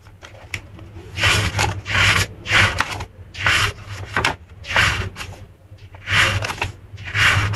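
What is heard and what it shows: Long painted nails and fingertips flip and rub the printed vintage pages of a small handmade paper journal held in both hands. A series of bright, papery rustling swells rises and falls over a faint, steady low hum, with short quiet gaps and a few quick ticks between them.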